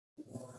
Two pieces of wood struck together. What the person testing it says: they make a nice tone. So you can see whether your wood is wet or dry very easily